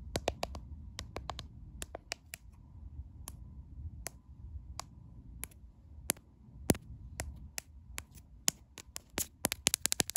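Long painted acrylic nails tap and scratch the glass back and camera bump of a caseless white smartphone held in one hand. About thirty fast, sharp, bright clicks ring out over a low, steady rumble, with softer scratching between them.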